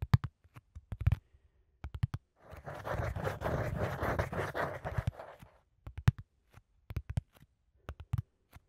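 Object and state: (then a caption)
Cardboard sheet. A flat, thin, hollow-fluted brown corrugated cardboard sheet, held upright in front of the microphone, is scratched with fingertips and nails. Short, dull, low-pitched taps and scrapes at the start give way to about three seconds of continuous rough scratching. Then more scattered quick scratches and taps follow to the end.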